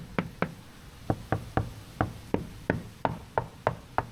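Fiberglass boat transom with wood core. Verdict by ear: Solid.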